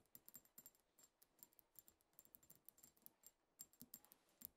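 A small, partly filled, pink-tinted glass perfume bottle with a heart print is tapped rapidly on its sides with long acrylic nails. The result is a quiet run of sharp, bright clicks with very short ring, arriving in uneven bursts.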